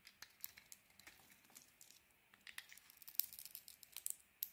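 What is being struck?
Bar of soap.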